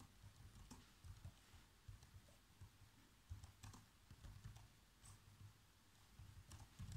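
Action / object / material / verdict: tap / plastic laptop keyboard / plastic / none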